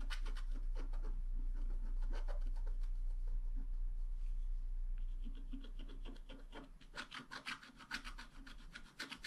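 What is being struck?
Black-coated scratch art card scraped with a wooden stylus.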